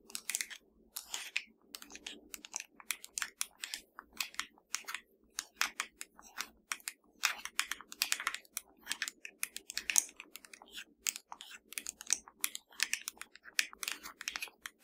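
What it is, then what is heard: Plastic TV remote control. Long nails tap and scratch a slim, hollow black plastic Fire TV remote held in one hand. The result is a rapid, irregular stream of short, dry, bright clicks and scratchy rasps over a faint, steady low hum.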